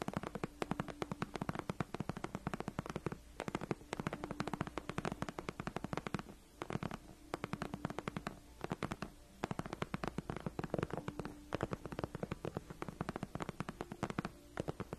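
Long acrylic nails scratch and tap across the front of a large white padded faux-leather (PU) gaming chair backrest, which is soft and cushioned rather than hollow, with both hands on the chair. The result is a dense, steady stream of quick, dry clicks and scratchy taps over a low muffled bed, with brief pauses in between.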